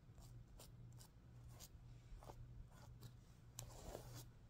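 Fingers and nails brush and scratch the reversible plastic sequins on a stuffed heart-shaped pillow, flipping them from pink to green. Soft, bright scratchy swipes come in short bursts over a steady low hum, with no clear pauses between the strokes.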